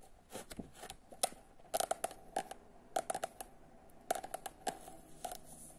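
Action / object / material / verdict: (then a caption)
tap / paperback book with glossy card cover / card / none. Long nails tap rapidly and scratch the glossy printed cardboard cover of a solid paperback book (Momo Kapor's "Samac") held in the hand. Short, dry clicks come in quick clusters, with a tick around 740 Hz and bright, high scratchy edges over a quiet, faintly hissy background.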